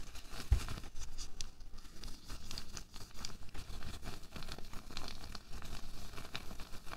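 A single loose, thin pink latex glove, empty and hollow, is held in both hands above a white table while the fingertips stretch, crumple and rub the rubber. The result is a steady stream of soft crinkling, rubbing and stretching sounds, with one sharper snap near the start.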